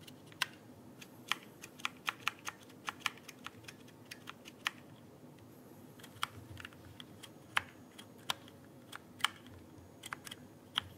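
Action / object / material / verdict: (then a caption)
tap / plastic keyboard keycaps / plastic / none. Fingertips press and tap the plastic keycaps of a backlit mechanical keyboard held vertically close to the microphone. An irregular series of sharp, bright clicks sounds, each dying away almost instantly, over a quiet low background hiss.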